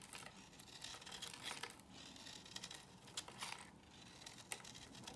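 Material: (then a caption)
Soap. A solid white rectangular bar of La Prairie soap, held in the hand, is shaved with a box cutter blade into crumbly curls. The result is a quiet, steady run of crisp, bright scraping and crinkling, with short rasping strokes and soft crumbling between them.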